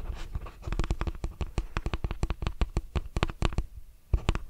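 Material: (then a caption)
Plastic. Fingertips and nails scratch the plastic bristles of a lilac plastic detangling hairbrush and tap its back. The result is a rapid, uneven stream of short, dry clicks and scratchy taps with a heavy low thump beneath them. Each hit dies away almost instantly, with brief quieter gaps between bursts.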